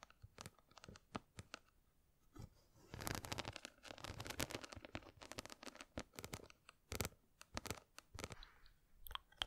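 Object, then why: Small box covered in glass or plastic rhinestones. Long nails scratch and tap across a small square box covered in glass or plastic rhinestones, with the grip on the box changing near the end. The result is quiet, crisp crunchy clicks and bright scratching, scattered at first, then a dense raspy stretch in the middle, and finally a few sharp separate taps.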